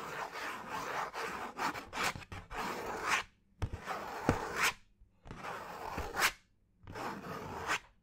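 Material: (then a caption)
Cardboard. A thin brown cardboard piece, held near the ear, is scratched with fingernails. The sound is a dry, rasping scratch in bursts, with a long opening stretch and then three shorter passages separated by brief silences. Sharp little ticks and bright peaks appear where the nails catch the surface.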